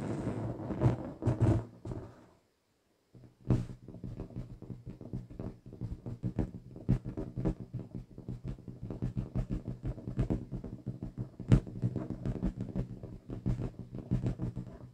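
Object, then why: Inflated latex rubber balloon. A hollow, pink inflated latex balloon is tapped and scratched with long chrome-painted fingernails, giving dull, low, resonant thumps around 130 Hz with a rubbery scratching texture. After a short pause near the start, the taps continue in a dense, uneven stream of quick, damped hits for the rest of the clip.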